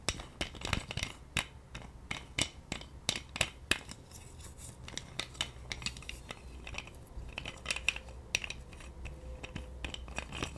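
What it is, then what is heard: Plastic massage roller. A hand-sized massage roller with a pink hard plastic handle and white spiked plastic rollers is tapped and scratched with long nails. Sharp, bright plastic clicks and taps come in quick irregular bursts over a faint low rumble, with short scratching passages between them.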